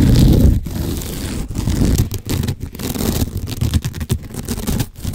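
Fingernails scratch the rough woven fibers of a sisal rope-wrapped cylinder from a cat scratching post, held horizontally. The result is a dense, irregular, low-pitched rasping scrape with a rumbling body and little bright content, broken by brief gaps between strokes.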